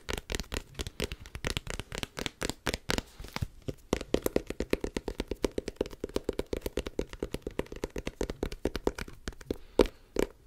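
A small pocket-sized book with a green cloth or cardboard hardcover and solid paper pages is held in both hands near the mic and handled with the fingertips. About 65 quick, dry taps on the cover mix with the flipping and rubbing of the pages. A soft, steady low rustle runs under the taps through the middle of the clip.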